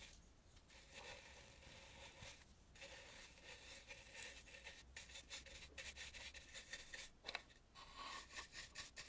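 A dry bristle brush sweeps around the painted eyes of a red carved wooden mask held in the hand. It makes a soft, bright, scratchy rubbing. Short strokes repeat steadily over a faint low hum.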